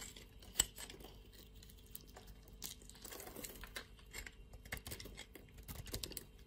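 A metal blade scrapes curls and cubes off a solid blue and white striped bar of soap held in the hand. One sharp, bright click stands out near the start, followed by quiet, crisp, crumbly scraping and crackling with brief, dry bursts that fade almost at once.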